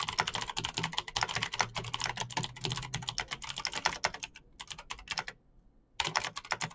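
Fingertips type fast on a Razer BlackWidow backlit plastic mechanical keyboard with clicky green switches. Dense, bright clicking taps run nearly continuously, broken by a brief quiet gap before the typing resumes.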